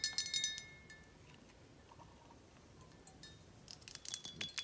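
Long acrylic nails tap and scratch the thick glass of a large, clear, filled Reposado tequila bottle held in the hand. Quick bursts of bright, high clinking taps with short ringing tones open and close the clip, with a quiet stretch of faint scratching in between.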